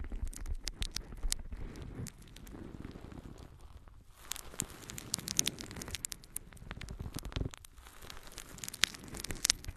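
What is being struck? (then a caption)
Natural sea sponge. A yellow, porous natural sea sponge is held in both hands and scratched and squeezed with long nails. The result is a close, continuous stream of dry, crackling and rustling scratches with bright, sharp clicks over a soft, low crumpling texture.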